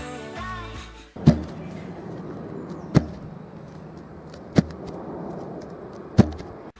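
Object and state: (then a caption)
Longboard dropped on the ground. A longboard is dropped onto the ground four times, each drop landing as a sharp, low, short thud with a brief bright crack, spaced a second and a half or so apart. A short burst of music plays before the first drop, and a steady background hiss runs between the impacts.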